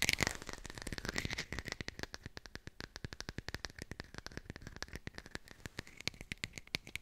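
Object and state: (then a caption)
Artificial textured lemon. Fingertips rapidly tap a textured artificial plastic lemon, recorded close up with a hi-fi microphone. The result is a fast, steady stream of dry, bright clicks with a faint tone near 2.2 kHz, each tap dying away almost instantly. The tapping starts dense and slightly louder, then settles into softer, evenly spaced taps.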